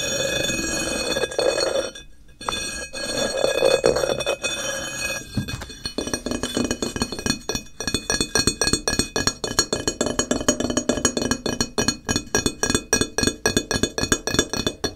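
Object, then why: Ceramic floor tile. A solid grey matte ceramic floor tile, held upright and then tilted close to the microphone, is scratched and tapped by fingertips and nails. The first five seconds are a continuous, bright scratching hiss. It then gives way to quick, irregular, dry clicking taps with almost no ring.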